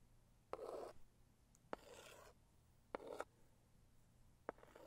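A medium, hollow pink floral Saviland cardboard gift box is scratched and rubbed with long acrylic nails. Four sharp nail clicks each lead into a short, dry scratching rub with a hollow midrange body and a bright, hissy top, separated by quiet pauses.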